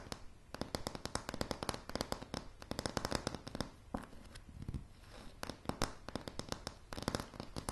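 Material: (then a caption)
Pine wood. Long polished nails on both hands tap rapidly on solid, light pine floorboards. The sharp, dry clicks come in quick flurries that are bright at the top and have a low woody thud underneath. A softer, quieter stretch around the middle breaks up the flurries.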